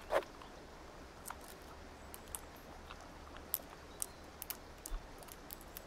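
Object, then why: Plastic gear puzzle cube. A small multicolored plastic gear puzzle cube is held in the left hand while its faces are turned and tapped with long nails. Quiet, sharp plastic clicks and taps come at scattered intervals, with a faint bright tick on some, over a steady low hum.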